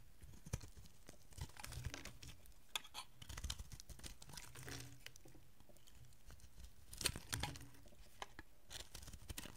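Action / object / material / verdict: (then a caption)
scrape / bar of soap cut with a metal blade / soap / none. A solid oval bar of dry green soap, held in the hand, is carved and scraped with a metal utility blade. Quiet, crisp scraping and crumbly crackling come in irregular bursts, with sharp, short clicks and a bright, high edge over a faint low rumble.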